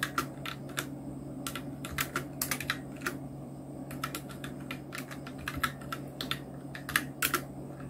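Fingertips of both hands type on a full-size black Nubwo Illution NK-70 mechanical keyboard with Outemu red switches, round plastic typewriter-style keycaps and blue backlight, resting on a white desk. Rapid, uneven keystrokes produce short, bright plastic clacks with very little ring, heard over a steady low hum.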